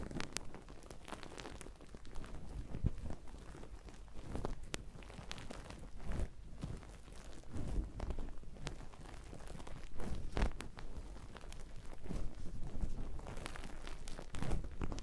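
A hand-sized, hollow and airy grey plastic-mesh loofah pouf is scrunched, squeezed and rubbed with the fingers of both hands. It makes a steady run of soft, close crinkling and crunching rustles with short, sharp crackles throughout. The sound is quiet and muffled, weighted toward low tones.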